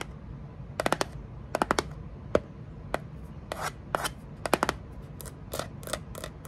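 Long nails scratch and rub quickly across the flat face of a small kraft cardboard box held upright. Quick clusters of sharp, dry scratches alternate with softer rubbing strokes over a low, steady background rumble.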